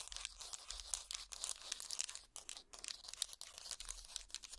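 A wooden hot pad, a trivet of small linked solid wooden blocks, is held up and scratched with finger picks and fingertips. The result is a steady, dense run of bright, dry scratching and crackling with quick, short-lived bursts and almost no low end.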